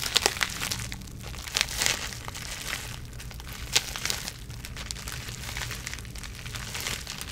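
Long nails scratch and squeeze clear plastic bubble wrap wrapped around a small product box. The result is a steady, bright crinkling texture punctuated by sharper, louder crackles near the start, around two seconds, and just before four seconds, with a faint low rumble underneath.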